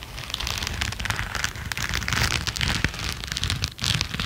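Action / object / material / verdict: scrape / latex-coated knit work gloves / latex rubber / none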